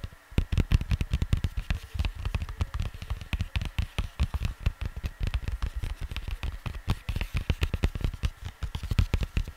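Fingers tap rapidly and continuously on the cardboard sleeve of a vinyl record, producing dense, dull, low thuds with very short decay. A faint steady hum runs underneath the tapping.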